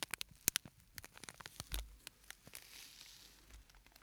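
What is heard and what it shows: A small, flat purple-and-white printed plastic scent sachet with a sandy filling is held in the hands and squeezed and crinkled with the fingertips. Quiet, bright, dry crackles and crinkling snaps come in an uneven run, each dying away almost instantly. They settle into a softer, gritty rustle near the end.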